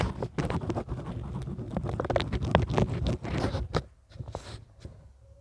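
A hand writes with a pink pen on a lined paper notepad on a clipboard, a flat, solid, thin surface with small lavalier microphones clipped to its edge but untouched. The pen tip scratches across the paper in quick, irregular strokes with a low, dull body beneath the scratching. The writing is dense and steady for about four seconds, then thins to a few softer, scattered strokes.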